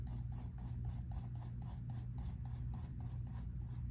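A pink mechanical pencil scratches and shades across a spiral-bound sketchbook paper page in quick, repeated rasping strokes. The strokes come as an even, rhythmic scratching over a steady low rumble that dominates the sound.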